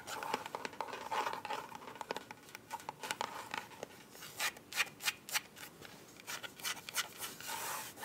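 Long white acrylic nails scratch and tap a small, closed, black hollow glasses case with a soft plastic or faux-leather covering, held in both hands and turned while being scratched. Bright, dry scratching rasps alternate with quick, sharp taps that die away almost instantly, with a steady stream of crisp clicks through the second half.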